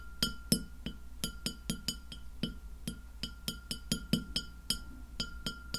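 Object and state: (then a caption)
Glass plate tapped with fingernails. Long fingernails on both hands tap the surface of a white glass plate lying flat behind the recorder, letting it ring. Twenty quick, clicky taps sound in an irregular rhythm, each with a brief bright glassy chime over a low body. A faint steady tone and low background rumble sit underneath.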